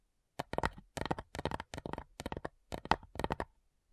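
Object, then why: Small wooden box. Long nails tap on the printed lid of a small, flat, light, hollow wooden box with metal clasps. Quick bursts of dry, clicky taps come in several short clusters separated by brief silences. Each tap dies away almost at once, with a hollow midrange knock.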